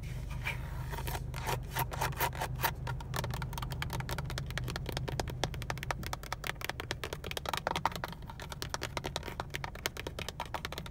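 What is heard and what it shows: Fingernails tap and lightly scratch the textured black plastic airbag cover of a Honda steering wheel, a hollow mounted panel with a chrome badge, working over its surface and seam. Rapid, dry, clicky taps mixed with soft scratching sit over a steady low hum, growing denser and sharper after the first second.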